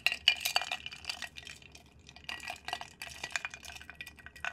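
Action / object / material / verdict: scrape / glass jar with water, stirred with a wooden stick / glass / none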